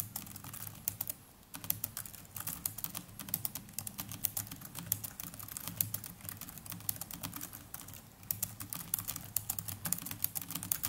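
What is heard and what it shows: Fingertips of both hands type continuously on the plastic chiclet keys of a small black netbook keyboard. Rapid, dry, bright clicks patter with a soft low thump beneath, broken by brief pauses near 1 second and 8 seconds.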